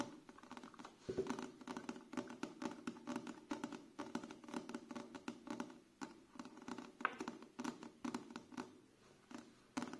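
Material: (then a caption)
Paper. A thick, solid paperback book with a paper cover and pages is held in both hands while fingertips and nails tap on the page edges and the cover. The result is a steady run of quick, light, dry taps and scratchy patter with crisp clicks that die away almost instantly.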